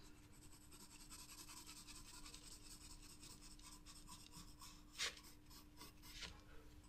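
A graphite pencil draws lines near the bottom of a flower on a spiral sketchbook paper page, its tip scratching across the paper. A soft, steady, bright rasping continues throughout over a faint low hum, broken by two sharper, louder ticks near the end.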